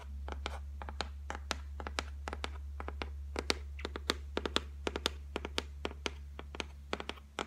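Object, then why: Laminated board shelf. Long nails tap and scratch across the flat top of a solid white laminated shelf board, making a quick run of short, dry clicks with bright, crisp edges and almost no ring. A steady low hum sits underneath throughout.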